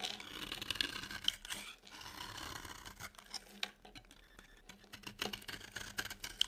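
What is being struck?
Bar of soap scraped with a knife blade.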